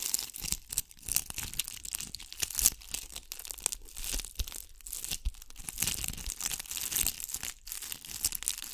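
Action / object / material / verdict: scrape / ball covered in glass bugle beads / glass beads / none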